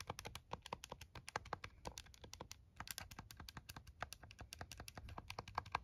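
A plastic TI-34 scientific calculator, first held in the hands and then laid on a towel, has its keys pressed rapidly with the fingertips. The result is a fast, steady stream of short, dry plastic clicks with bright edges, some carrying a faint tone around 1 kHz, over a soft low background rumble.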